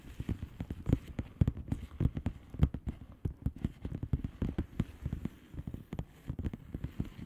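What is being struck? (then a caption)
Plastic bubble wrap envelope. Long polished fingernails rapidly tap and scratch across a flat blue plastic bubble wrap envelope. The result is a dense, steady patter of dozens of short, dull, low-pitched taps with very little brightness, much like rain drumming on a surface.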